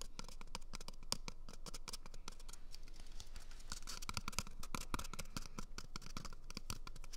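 Fingernails scratch and tap the surface of an empty, hollow brown cardboard toilet paper tube held right at a microphone's ear. The result is a steady, irregular stream of quick dry clicks and scratchy crackles. Each short tap carries a bright edge over a heavy, close low-end thump.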